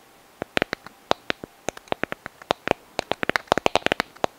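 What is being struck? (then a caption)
Sand dollar skeleton, calcareous shell. A white, palm-sized, hollow calcareous sand dollar skeleton is held near the microphone and tapped and scratched with long nails. Around 25 sharp, dry clicks sound in an uneven rhythm, each very brief with almost no ring, bright and papery with little low end. The clicks grow denser toward the end.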